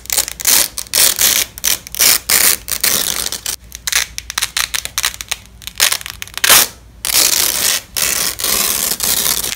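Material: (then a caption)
Nylon. Black-gloved hands repeatedly peel apart and press together a yellow and black nylon hook-and-loop velcro strap. Each pull gives a short, crunchy, bright tearing rasp, separated by brief quiet gaps, with almost no low end.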